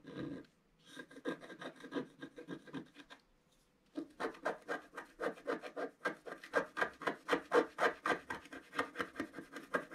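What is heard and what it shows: A thin wooden stylus scratches repeated strokes across a flat black sheet of wax-coated scratch art paper in a book. The dry, raspy strokes come about four per second, roughly 32 in all, with a short pause after the first stroke and another just before the four-second mark. After that the scratching continues steadily and grows a little louder.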